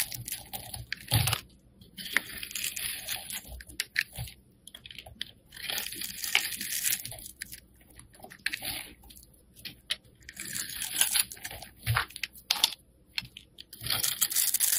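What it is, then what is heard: Black soap bar being carved. A metal blade slices and scrapes thin flakes and layers off a solid black soap bar held in the hand. The carving is heard as bursts of crisp, bright crunching and scraping, broken by short quiet pauses.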